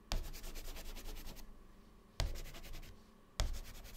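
White chalk held in the fingertips scratches fast zigzags across a black chalkboard panel, filling in the cells of a drawn grid. Three bursts of rapid, gritty scraping each start with a sharp attack and carry a bright, pulsing texture before fading into quiet hiss.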